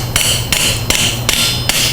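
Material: Steel.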